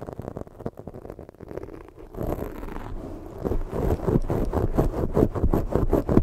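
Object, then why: Foam microphone windscreen. Long pointed fake nails scratch and drag across a black foam windscreen on a microphone, giving a muffled, low, rumbling scrape. The strokes start slow and uneven, then turn into quicker, louder repeated scratches with a faint high hiss on each pass.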